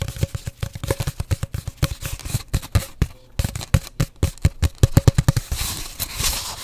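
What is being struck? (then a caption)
Cardboard paper towel tube. An empty, hollow cardboard paper towel roll held horizontally over the mic is tapped and scratched rapidly with long nails. The result is a fast, irregular stream of short, hollow thuds with a low resonance around 113 Hz, and scratchy rustling toward the end.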